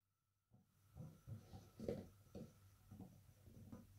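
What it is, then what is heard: Spiked PVC exercise ball. Fingertips in fingerless gloves tap and scratch the raised nubs of a large orange, hollow, air-filled PVC/rubber spiked yoga ball held close up. After a silent start, soft dull thumps and scratchy rubbing come in a series of brief bursts, mostly low and muffled with little ring.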